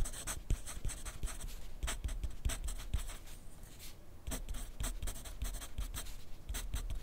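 A yellow wooden graphite pencil writes continuously on a thin grid paper sheet resting on a white clipboard. Its tip makes dense, bright scratching strokes with short, quick taps. A brief lull comes near the middle before the steady writing resumes.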